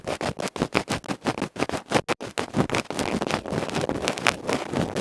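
A bamboo ear pick rapidly scratches the black felt face of a small, hollow aluminium electret microphone capsule held in the fingertips. Quick, uneven bursts of coarse, broadband scraping with a bright, hissy top come through at first as separate strokes. They then blur into a denser, nearly continuous rasp.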